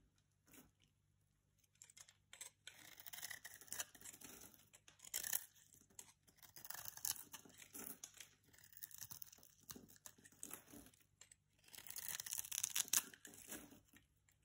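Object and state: Bar soap being cut.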